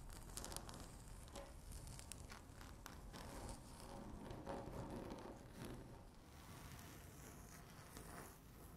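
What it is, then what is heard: Laminate tabletop tapped and scratched with nails. Long natural nail tips tap and scratch across a flat, solid speckled laminate tabletop. Quiet, irregular clicks and scraping strokes come in quick bursts, with bright crackly edges over a soft low rumble, and the scratching stays fairly even throughout.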